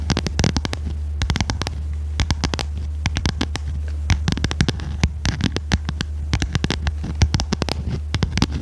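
Long red nails tap and scratch the stiff cover of a small red notebook with metal spiral binding, held upright. Dozens of quick, sharp, bright clicks come in uneven clusters, each dying away almost at once. A steady low hum runs underneath the whole time.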